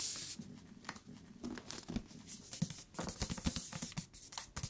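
Fingertips tap on the cover and along the top and bottom edges of a thick paper book, giving soft, quick, dull taps with a low body and brief crisp edges. The taps come in an uneven patter over quiet background hiss, and the top and bottom edges sound different even though the thickness and material are the same.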